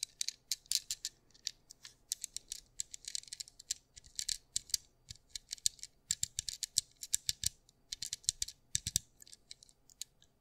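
A small white plastic fidget cube is held in the fingers while fingertips click, roll and ratchet its buttons and gears. The result is a quick, irregular run of dozens of sharp, dry, bright clicks and rattling ticks, each dying away almost instantly, with almost no low end.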